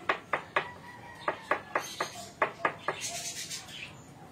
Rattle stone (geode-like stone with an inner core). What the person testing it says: Pag ayaw umalog, yan, kinakatok-katok. Sabi ng mga matatanda, gisingin mo ang tulog. Yun, umalog na.